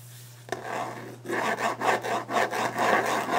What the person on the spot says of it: Fast/Aggressive Tapping and Scratching a Wooden Desk